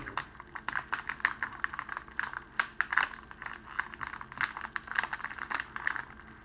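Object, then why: Clear cellophane wrapping sheet. A clear cellophane wrapping sheet around a rose is folded over and rolled by both hands, fingertips on a table. It makes a run of sharp, dry crinkles and crackles centred around 1.6 kHz with bright upper edges. Each snap dies away almost instantly, with quiet gaps between bursts.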